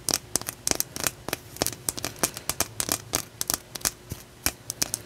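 A solid, palm-sized raw chunk of rough blue calcite stone is held in one hand and tapped and scratched with long nails. About two dozen quick, bright, dry clicks come in an uneven run, each dying away almost instantly, with faint scratchy rasping between them.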